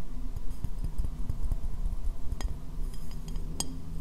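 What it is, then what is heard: Ceramic bowl tapped with fingernails. A medium, hollow, empty white ceramic bowl, turned upside down over the microphone, is tapped on its base and sides with fingernails. The taps come as a quick, uneven patter of dull, boomy low thuds with a short ring, plus a few brighter clinks that cut through.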